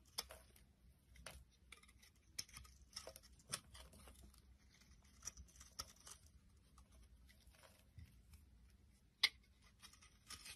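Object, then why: Round bar of soap scraped with a knife blade. A utility knife blade scrapes and shaves the knobbed bumps off a palm-sized, solid round purple massage bar soap held in the hand. The clip is quiet, with about nine crisp, bright scraping clicks that die away almost instantly over a faint low background hum. Softer shaving rasps fill the gaps between them.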